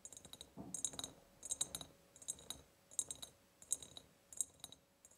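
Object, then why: Ribbed glass jar. Long painted nails tap the sides of an empty, ribbed, clear glass jar. The result is quiet, bright clicks with a glassy high ring, coming in loose clusters with soft scratchy contact noise in between.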